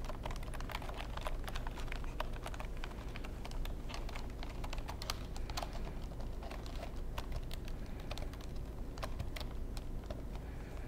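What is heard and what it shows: Fingertips press and tap the keys of a long black plastic computer keyboard tilted toward the microphone. Quick, dry clicks and taps run steadily throughout over a constant low hum.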